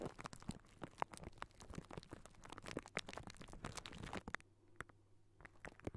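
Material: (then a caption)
Metal mesh. Fingertips and short nails scratch and tap directly on the round metal wire-mesh grille of a large hollow microphone head. The result is a dense run of quick, dry scratches and crisp clicks over a low, steady hum, quieting briefly near the end before a few sharp taps return.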